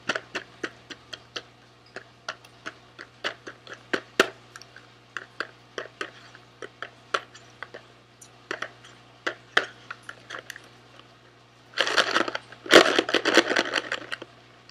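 Fingernails rhythmically tap a small SweetTarts cardboard candy box held in both hands, producing a loose, uneven run of short, dry, bright clicks that die away almost instantly. Near the end the tapping gives way to a denser burst of scratchy, rustling noise over a faint steady low hum.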